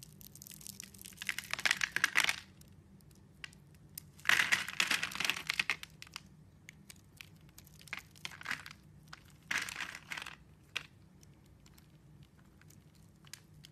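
A metal blade cuts and scrapes a solid rectangular bar of green soap, scored into slices and held in the hand, shaving off thin strips. Bursts of crisp, bright scraping and crumbly crunching come in waves, separated by quieter stretches with faint ticks.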